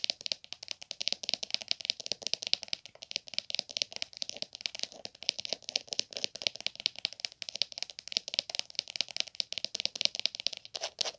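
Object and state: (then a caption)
Leather glasses case. Long nails tap and scratch the top and the edge near the metal snap of a small, hollow, dark green leather hard glasses case with a gold emblem. The result is a fast, dense run of dry, clicky taps and rattly scratches, bright and high with almost no low end, each hit dying out instantly.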